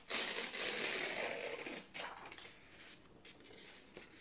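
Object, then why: Printed office paper sheets. Both hands grip thin white printed office paper sheets and slowly tear them in half. A long, bright, hissing rip runs for almost two seconds, followed by a shorter second tear and then quieter crinkling with a final small snap.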